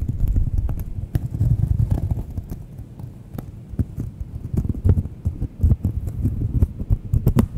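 Long manicured nails scratch and tap the surface of a thin, solid, palm-sized round cork coaster held close to the microphones. The result is a steady stream of soft, dull, low thumps with short bright clicks and a faint scratchy rustle, each tap dying away almost at once.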